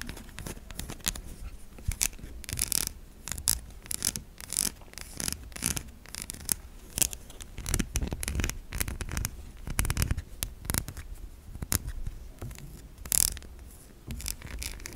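Long nails scratch and tap across the surface of a white, solid, stamped bar of soap, making dense, crisp scraping strokes broken by sharp, quick taps. The scratching is bright and papery with a low underlying rumble, and each tap dies away almost at once.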